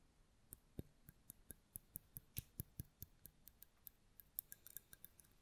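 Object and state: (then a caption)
Mosaic glass candle holder tapped with nails. A hollow white mosaic-glass votive candle holder with a lit candle inside is held and tapped rapidly with long nail tips. About 24 quick, dry clicks with bright, high glassy ticks and no ringing come at an uneven pace over a faint low background.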